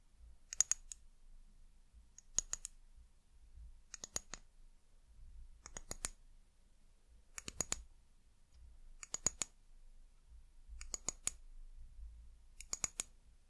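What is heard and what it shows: Long nails tap the body of an amber glass bottle with a white cap, producing eight short bursts of quick, bright clicking taps spaced evenly apart. Each tap is crisp and dies away almost instantly, with a faint low rumble between the bursts.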